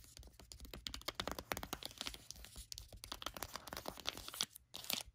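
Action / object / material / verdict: tap / foil face-mask sachet / foil / none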